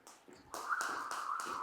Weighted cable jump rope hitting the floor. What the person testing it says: if you can't hear that rope clicking the ground that means your rope is probably too short